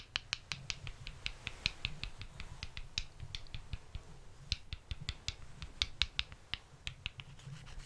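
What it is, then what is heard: Wooden balls tapped together. Wooden balls are tapped and rubbed together, moving from the back to the front of a stereo microphone. A rapid run of sharp, dry, bright clicks sounds over a low rumble, each tap dying away almost instantly. The taps are close and quiet, with some louder accents.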